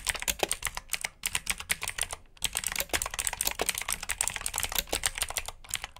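Fingertips type on the keycaps of a black plastic backlit mechanical keyboard with blue switches. Rapid, bright, sharp clicks come in quick bursts, with brief pauses near the first and second seconds. Each click ends almost instantly.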